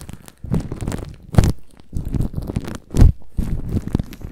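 A microphone tightly wrapped in thin, crinkly clear plastic cling film is scratched and rubbed by a black-gloved hand and bare fingertips. Muffled, low-heavy crinkling and rustling comes in uneven bursts, with louder swells near 1.4 and 3 seconds, and each sound dies almost instantly.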